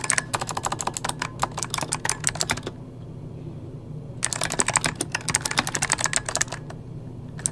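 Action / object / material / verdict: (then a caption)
tap / plastic mechanical computer keyboard / plastic / none. Rapid typing on a full-size backlit mechanical computer keyboard with plastic keycaps, tapped with the fingertips of both hands, gives dense bursts of sharp, bright clicks over a low steady hum. The typing stops for about a second and a half in the middle, leaving only the hum, then resumes in another quick burst before tapering off.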